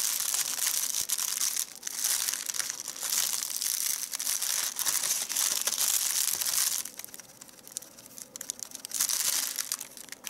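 Fingers squeeze, crumple and fold a small, light, hollow handmade doll of white crepe paper with a rolled head and paper arms. The result is a dense, bright, continuous crinkling and crackling, with almost no low end. It quiets for a stretch near the end, then swells again before fading.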